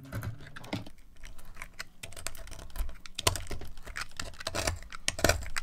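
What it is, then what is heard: Dry laundry soap bar being carved. A green-handled knife repeatedly slices and scrapes thin shavings from a dry, solid yellow bar of laundry soap held by a hand with long nails, with the flakes piling up beside it. Quick, crisp scraping and cutting clicks follow one another in a steady, dry patter with bright edges and a low thump beneath.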